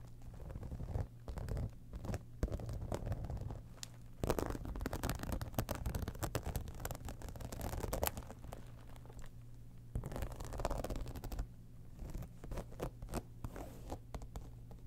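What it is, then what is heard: Textured faux-leather cosmetic bag being scratched. Long nails scratch across the side and top surfaces of an embossed, holographic, textured faux-leather cosmetic bag. The result is a steady, dense run of close, rasping scratches with a soft crinkly texture and a dull, low-heavy body, pausing briefly now and then before the scratching resumes.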